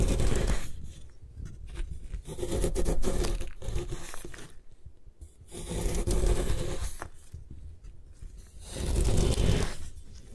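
A metal putty knife scrapes and slices flakes off the side of a solid white compressed gym chalk block held in a long-nailed hand. Rough, gritty scraping strokes swell and fade in repeated passes, with a crunchy, crumbly texture and a bright rasp over a low body.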